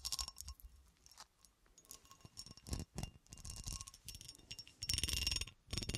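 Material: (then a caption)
Glass. Long nails scratch along the ridged cuts of a solid, textured cut glass horseshoe held in the hand. The result is soft, irregular bursts of bright, gritty rasping and clicking, with short, dry scrapes rather than a ringing tone.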